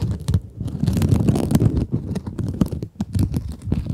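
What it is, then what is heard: Mesh scrub sponge. Long acrylic nails scratch a small rectangular pink kitchen scrub sponge with a sparkly woven mesh cover, soft and solid, held in front of microphones. It makes a dense, rapid run of muffled, low-heavy scratching and rustling bursts, with brief dips between strokes and little lingering ring.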